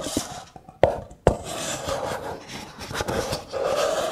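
A stack of hollow, empty kraft paper cups is slid and rubbed together by hand, the nested brown cups making a dry, papery scraping hiss. A few sharp, brief clicks stand out early on, then the rubbing continues steadily with a faint mid-pitched tone around 540 Hz and some bright, airy texture.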